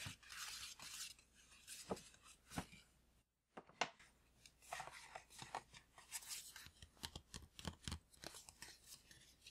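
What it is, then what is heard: Paper gift bag. A tall green paper gift bag, apparently empty, is tapped with the fingertips and nails in a quick, irregular series of soft taps and light scratches. Each tap is short and dry with a crisp, papery rustle bright in the highs, and the tapping breaks for a brief silence near the middle before resuming.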